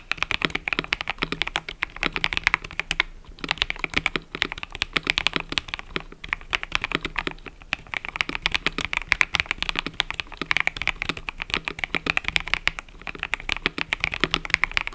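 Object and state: Mechanical keyboard with plastic keycaps.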